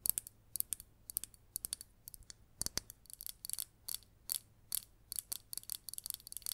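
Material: Ceramic.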